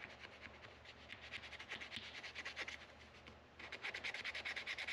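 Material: Wood, metal.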